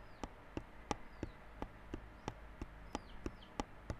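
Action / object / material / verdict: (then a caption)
tap / small cardboard box in plastic wrap / cardboard / none. Fingertips tap and scratch the wrapped front face of a small yellow cardboard Realme Buds Classic earphone box, sealed in clear plastic wrap and lying flat. About a dozen short, dull, crinkly taps land in a loose, steady rhythm, with faint high scratching swipes between some of them over a quiet hiss.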